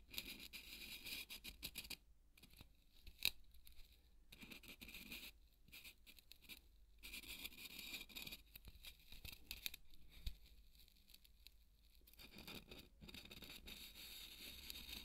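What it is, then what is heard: Polystyrene foam ball. A marker tip scratches along the surface of a large white solid polystyrene foam ball held by hand, tracing a line. Bursts of bright, squeaky, crunchy scraping come and go with short quiet gaps in between, along with a few sharper clicks.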